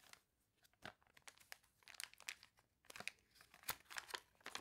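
Long nails scratch across the spread of a glossy paper toy catalog, then rub its warped pages. This makes a quick series of sharp, bright crinkling and crunching bursts with almost no low end. Each burst cuts off quickly between quieter rustles.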